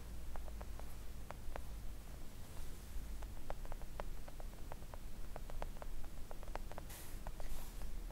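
Long acrylic nail tips tap gently on a flat, thin, solid pink silicone nail art mat, making a quick series of soft, short clicks. Each tap dies away almost at once, over a steady low hum and faint hiss.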